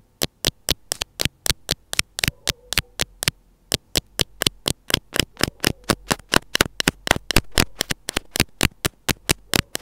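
The closed tip of metal scissors scratches and taps along the small white plastic housing of an earphone inline mic held between the fingers. About 44 sharp, bright clicks come in a steady, fast run, each dying almost at once, over a faint low hum.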